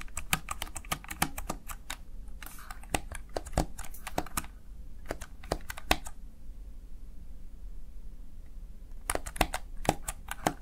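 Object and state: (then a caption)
Plastic gaming keypad. Keys on a small backlit plastic Razer Tartarus Chroma gaming keypad are pressed and tapped by the fingertips and nails of one hand. Quick, sharp, bright clicks come in uneven bursts, with a long quiet stretch in the middle before the tapping resumes. A steady low hum sits underneath throughout.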